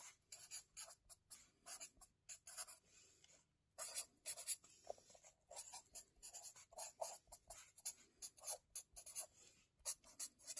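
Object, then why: Paper spiral notebook written on with a felt-tip marker. A felt-tip marker is written across the lined pages of an open wire-bound paper notebook lying flat on a table, its tip scratching and rubbing over the paper. Many short, bright, dry scratching strokes come in quick bursts separated by brief pauses, with almost no low end. The strokes stop dead with no ring.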